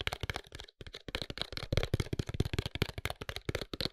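Fingertips and short nails tap a tall, narrow, closed white paperboard serum box with a serum bottle inside. A quick run of short, dry taps with a hollow low thump and a light papery click on top, with a brief pause early on. Each tap dies away almost at once.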